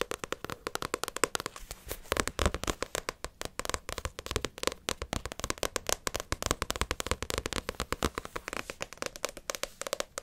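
Long acrylic nails rapidly tap and scratch the glossy card cover and spine of a small, solid paperback manga, Naruto vol. 31. The result is a dense, steady stream of short, dry clicks with no ringing, mixed with light scratching.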